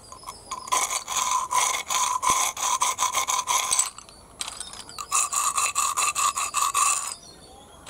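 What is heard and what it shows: Fingers scrape and rub through a heap of small, hollow, empty snail shells on concrete. Dense, bright rattling clicks with a ringing tone near 1 kHz come in two bursts separated by a short pause.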